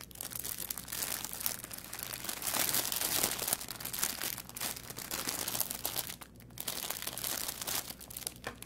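A thin clear plastic packaging bag holding a green artificial plant is held in both hands over a wooden table and squeezed and crinkled with the fingertips. The result is a continuous, dense, bright crinkling and crunching with many quick crackles and brief quieter moments, and almost no low end.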